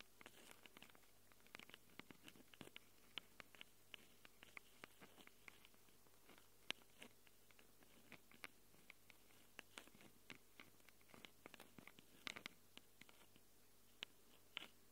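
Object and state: Recorder mic capsules tapped and scratched with fingernails.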